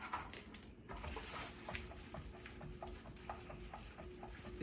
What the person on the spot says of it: as I shake it you can hear the co2